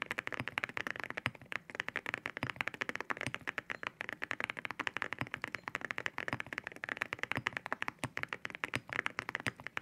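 Both hands type with their fingertips on a white 65% mechanical keyboard fitted with Cerakeys ceramic keycaps, with spare keycaps lying on the desk. A fast, steady stream of short, sharp, bright clacks comes from the keys, each dying away almost at once, with little low end.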